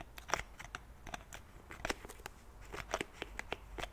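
Fingernails tap and scratch the cap and sides of a white plastic pump bottle of cleansing milk. The result is a quick, irregular run of short, dry clicks and crisp scratches with bright edges, each dying away almost at once over a quiet, steady background.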